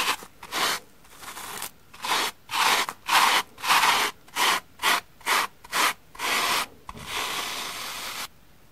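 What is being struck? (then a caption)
Cellulose sponge and bristle brush. A pink brush with white bristles is rubbed across the surface and edge of a large, solid, flat green porous cellulose sponge with shaving cream, held by a hand with long red nails. About thirteen bright, dry scratching strokes come in quick bursts separated by short silences, ending in one longer, softer brushing pass.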